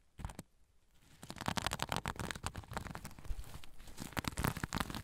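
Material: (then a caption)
Sequins. Fingernails scratch a soft zipper pouch covered in sequins, held over the recorder. A couple of faint crinkly ticks give way to dense, continuous scratching, a rapid crackling patter of sharp rustles with low thumps and bright edges that builds and stays steady.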